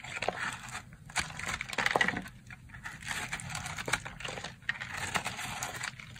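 A porous, dried-out purple soap block with a textured surface is held in the hand and cut through with a red box-cutter blade. Dry, crunchy scraping and crackling comes in uneven bursts, with bright sharp snaps standing out over a fine grainy hiss.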